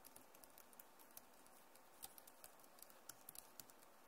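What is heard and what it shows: Fast typing and tapping with long nails and fingertips on a backlit plastic laptop keyboard. Quiet, irregular clicky taps, about 17 distinct hits over the clip, each short and bright over a low steady hiss.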